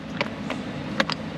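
Four light taps on the plastic engine valve cover of a Jaguar XF give short, hollow knocks with a thin, vibrating plastic ring over a low engine-bay hum. The cover sounds hollow and thin, though it is hollow by design.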